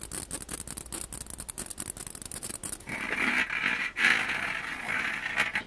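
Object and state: Mesh skimmer ladle.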